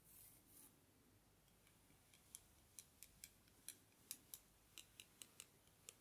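Two long, thin, solid wooden bamboo skewers held crossed in the fingers are scraped and tapped against each other, near the end held close to the face. A soft, breathy rub at the start gives way to about fourteen quiet, sharp, bright clicks at an uneven pace. Each click dies away almost instantly.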